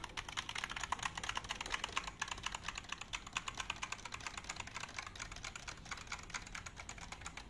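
A full-size black plastic wireless keyboard with a hollow body is held up in both hands while fingertips and nails tap its keys. A steady stream of quick, light, bright clicks rattles along for the whole clip, each tap dying away almost instantly with little low end.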